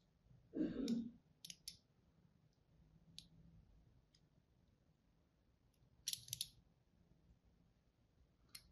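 A thin blade tip scores crosshatch lines into a solid pink-and-white striped bar of soap held in the hand. A soft, low-pitched scrape opens the clip, followed by short, bright, crisp scratching clicks spaced irregularly over a quiet background.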